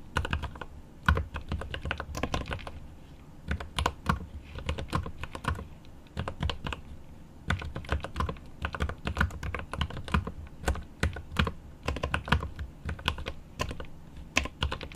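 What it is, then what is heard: Mechanical keyboard with plastic keycaps and aluminium case. Rapid typing with one hand's fingertips on a mechanical keyboard with plastic keycaps and an aluminum case. The key taps come in quick bursts with short pauses between them, each a short, deep clack with a bright click on top.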